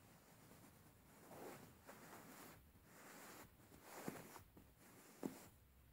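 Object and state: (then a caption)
Linen fabric cushion being scratched. A plain beige linen woven-fabric cushion, held upright, is scratched and rubbed with fingertips and nails. The result is quiet, breathy rustling and swishing strokes, with a couple of sharper, brighter scratches standing out near the end.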